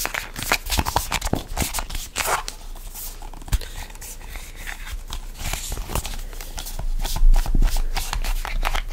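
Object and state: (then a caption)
Plastic squeeze tube being gripped. A hollow, red printed plastic tube is gripped and squeezed by both hands, with fingertips and nails pressing and scraping its surface. The result is a steady run of quick crinkly clicks, taps and scratchy rubs over a soft low thud from the handling. The sound grows a little louder toward the end.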